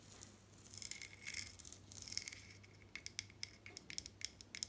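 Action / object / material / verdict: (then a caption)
tap / glazed ceramic mosaic wall tiles / ceramic / none. Long dark nails scratch across glazed ceramic wall tiles with raised mosaic pieces, solid and fixed to the wall, making a bright, hissy rasp. This gives way to a quick series of sharp, dry clicking taps that stop instantly with no ring. The sound is quiet overall, with a faint steady low hum underneath.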